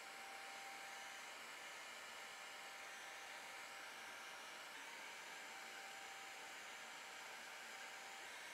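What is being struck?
Nothing is struck.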